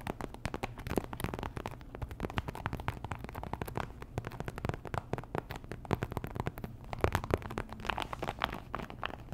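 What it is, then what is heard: Plastic sticker packet. Long nails tap and scratch a small, thin, flat printed plastic pouch, sealed with colorful stickers inside. The result is a quiet, continuous run of rapid, crackly clicks and scraping rustles with a soft low thump underneath. The bursts are short and dry, with no ring after each tap.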